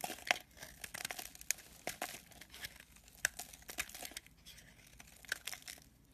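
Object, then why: Solid soap bar. A metal blade scrapes the edge of a solid white soap bar held upright, with crumbly shavings piling up below it. The sound is a quiet run of dry, bright, crinkly scraping, broken by sharp crisp snaps. It has almost no low end.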